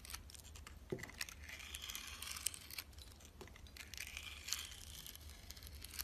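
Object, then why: Glycerin soap bar with granular sugar coating. A utility knife slices thin layers off a solid oval, sugar-coated glycerin soap bar with a green granular coating and a translucent yellow core, held in the hand. The quiet cutting gives a bright, gritty scraping and crinkling, broken by sharp crisp clicks as the blade catches the granules, over a low steady hum.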